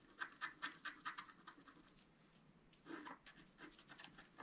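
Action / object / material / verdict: scrape / wax-coated scratch art card scratched with a wooden stylus / coated card / none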